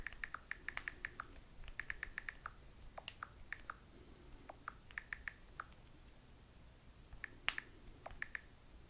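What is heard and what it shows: Long fingernails tap rapidly on the glass touchscreen of a small handheld smartphone, likely in a silicone case, held in one hand while texting. Quiet, sharp, dry clicks come in quick bursts with short pauses between them, each with a bright edge and no ring.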